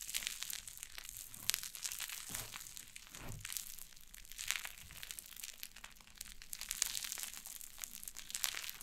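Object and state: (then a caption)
Cloud slime. White cloud slime on a wooden table is pulled apart and pressed with fingers and long nails. The result is a soft, dense stream of bright crackling, crinkling and tearing sounds with quick snaps and almost no low-end body.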